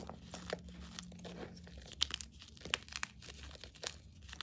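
Bare hands press, crumble and grind solid chunks of green and plain white gym chalk in a bowl into powder. Quiet, gritty crunching and crackling fills the clip, broken by a few sharper, bright snaps as pieces break apart.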